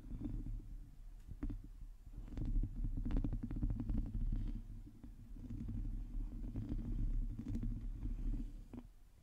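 Long teal nails of both hands scratch the hollow domed metal mesh grille of a black microphone. The result is a dense, irregular stream of fast scrapes and crackles over a deep, booming rumble, with the sound swelling and fading in waves.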